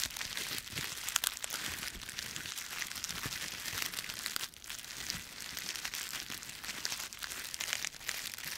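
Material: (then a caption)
Dry leaves. A bundle of dry autumn leaves with stems is squeezed and crushed in both fists, giving a dense, continuous, bright crackling and crunching. The sound is almost all in the high range with little low end and pauses briefly about halfway through before the crushing resumes.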